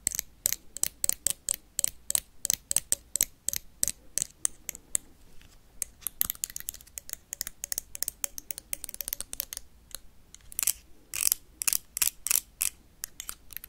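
A blue plastic toy lightsaber is tapped and scratched with paperclips. It makes a fast run of sharp, bright clicks and ticks with brief scratchy rasps in between. Each hit stops almost at once with no ring.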